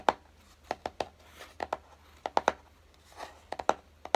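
Fingertips tap and lightly scratch the top of a small, hollow, closed kraft-cardboard box resting on a dark table. About fourteen short, dry, hollow taps with a mid-pitched knock land in irregular clusters, with two soft, brushy scratching swells between them. Each tap dies away almost instantly against a quiet background.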